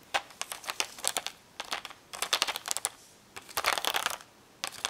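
Long nails tap and scratch the hollow plastic bubbles of a blister pack of magnetic letters on a cardboard backing. Bursts of quick, bright, crinkly clicks come in clusters separated by short pauses, with no low end and almost no ring.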